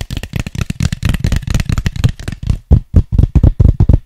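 Fingertips tap and scratch an empty, hollow white styrofoam cup as it is turned in the hand. The result is a quick, uneven run of dull, low, hollow taps with short decay, blended with a light scratchy texture at first, then settling into cleaner, separate knocks.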